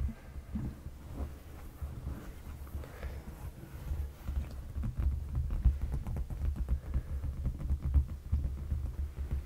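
Fingertips of both hands tap and lightly scratch a dark padded leather sofa cushion. The result is a steady run of soft, dull, low thumps with a deep, muffled body and almost no ring, plus faint scratchy rustles. The pace is quick and uneven.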